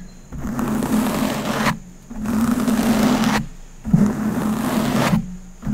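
A clear, empty-looking PET plastic water bottle is squeezed and crinkled with fingertips and palms close to the microphone. Three long bursts of crackling crinkle with a low hum around 200 Hz are separated by short quiet gaps.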